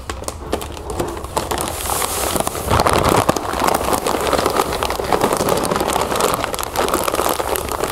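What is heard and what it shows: Long acrylic nails scratch and squeeze a clear plastic bag full of puffed cereal, first laid flat and then held upright. The clip is a steady, dense run of crisp crinkling and crackling, with quick scratchy ticks layered over the rustle of the bag and the cereal shifting inside.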